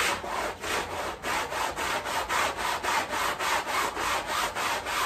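A small soapy fabric rug lying on tile is scrubbed with a long-handled stiff-bristle broom in steady up-and-down strokes. Each stroke makes a bright, rasping swish, and the swishes repeat in a quick, fairly regular rhythm.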